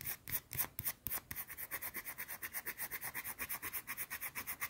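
A small, round, solid white soap bar held in the hand is scratched fast with long teal-painted nails. About 23 quick, bright, hissy scratches come in a rapid run. A few louder, fuller strokes at the start settle into a steady, even scraping rhythm.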